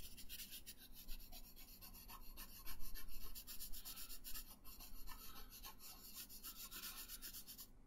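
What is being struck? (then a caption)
Thin paper sheet on a wooden table, rubbed with a wooden colored pencil. A pink wooden colored pencil is rubbed back and forth across a thin printed paper coloring sheet lying flat on a wooden table. It makes a steady run of quick, dry, bright rasping strokes, about three to four per second, over a low background rumble. The strokes grow louder in the middle and then settle back to a softer, even scratching.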